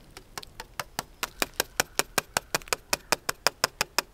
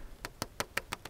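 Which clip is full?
The second.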